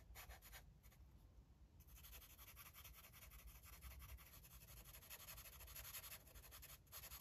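A red felt-tip marker colours in a flat paper colouring book page with repeated rubbing and scribbling strokes. The strokes make a soft, dry, bright scratching hiss over a low background rumble. There is a quieter pause near the start, then steady back-and-forth strokes for the rest of the clip.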